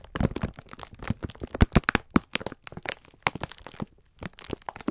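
A clear plastic-film pack of sponge scourers is held in both hands while the fingertips squeeze and rub it, crinkling the plastic. A dense run of sharp, dry crackles and crunches carries a heavy low thump. The crackles stop briefly before resuming near the end.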